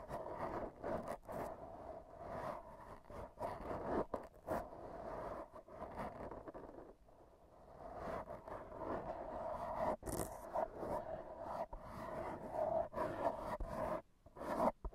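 AA batteries worn on the fingertips tap and rub against a black foam microphone windscreen up close. The result is a steady, dense scratching and crackling texture centered in the midrange, with brief dry taps and quick dropouts. There is little low-end body, and the level dips to near quiet for a moment partway through.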